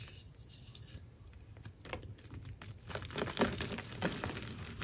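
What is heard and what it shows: Bare fingertips with short painted nails squeeze, crumble and rub apart chunks of a solid, dry, powdery white, hand-sized gym chalk block (magnesium carbonate) resting on a tray of chalk powder. Quiet, dry crackles and gritty scratching patter along irregularly, with a few sharper crumbling snaps growing louder toward the end.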